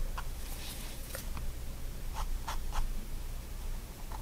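A fine-tip pigment liner pen makes short strokes and hatching across a spiral-bound white paper sketchbook lying flat on a wooden desk, while the other hand holds the page still. Quiet, dry scratches come in brief bursts with bright edges over a steady low hum.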